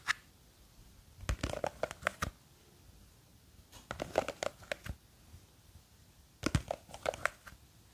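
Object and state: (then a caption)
Plastic jar of gel beads. Long green fake nails scratch and grip the sides of a small clear plastic jar with a white lid, full of blue gel beads. After a single opening tick, three bursts of quick, dry, crinkly scratching taps ring out with near-silent pauses between them, each tap sharp and short with a bright edge.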